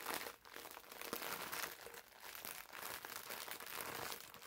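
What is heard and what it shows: A green foam bath sponge wrapped in clear plastic film is squeezed and crinkled in the hands with the fingertips. The result is a steady, quiet stream of bright plastic crinkling and crackling that swells and dips in waves, with almost no low end.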